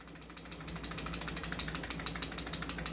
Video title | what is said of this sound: Review N Unbox of Umarex/SRC GIock17 & CIassic 1911 | Tingnan nyo yung barrel. Kumakalog.